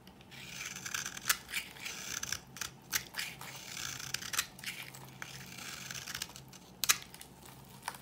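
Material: Soap.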